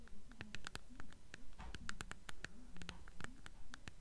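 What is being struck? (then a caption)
Hardcover book with paper dust jacket, tapped on the spine. Long nails scratch and tap the paper dust jacket on the spine of a blue hardcover book held upright. Quick, fairly regular dry clicks and taps mix with soft scratching strokes, each tap short and crisp with almost no ring, over a faint low background.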